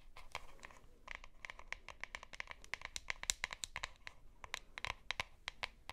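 Long nails scratch and tap the bottom and sides of a plastic deodorant stick held up close. A quiet, rapid run of sharp, dry clicks and scratchy rasps, bright and crisp with almost no ring, sits over a faint low rumble.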